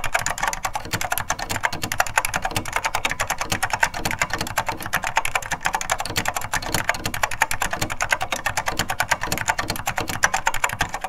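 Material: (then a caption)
Plastic. Two hands type steadily with their fingertips on a beige plastic SORD M101 full-size vintage mechanical keyboard with linear Mitsumi switches, the keys bottoming out. The microphone sits close above it. A dense, continuous stream of short, dry clacks has bright upper edges and a soft low thud under each keystroke, with no ring after each hit.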